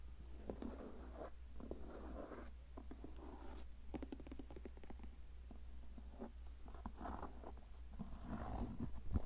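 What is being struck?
Leather cowboy boot.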